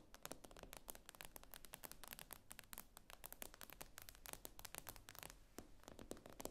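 Long acrylic nails tap and scrape across the glossy glass screen of a tablet lying flat on a table. Rapid, dry, bright clicks come in a steady flurry with short scratchy strokes between them, all at a quiet level.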